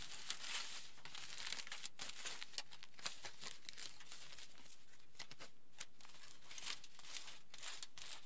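Hands rub a large aluminium foil sheet and roll and fold its edge, crinkling it. A steady, quiet bed of bright crackling and rustling runs throughout, with frequent sharper crinkles popping out.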